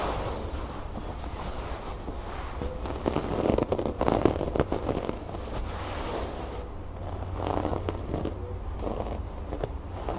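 Long nails quickly scratch and tap across a soft, stuffed cream fabric cushion with brown cord embroidery. The result is a steady, dense crackling rustle over a low rumble, with louder, busier bursts of scratching in the middle and again near the end.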